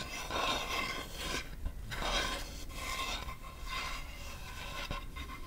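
Long nails scratch and rub across the face and edge of a large, solid acacia wood chopping board held upright. Dry, raspy scraping strokes come and go in irregular waves, with a bright hiss over a steady low rumble. The friction stays fairly even in level, with short quieter gaps between strokes.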